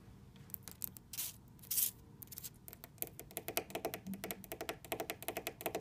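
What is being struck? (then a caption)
Wood-laminate dresser panel. Long red fingernails and fingertips tap and scratch the flat panel of a large orange wood-laminate dresser with black trim. A few soft taps and two bright, hissing scratches come first, then a fast, irregular run of crisp, short clicking taps with almost no ring.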